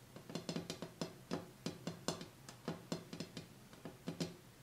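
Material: Glass.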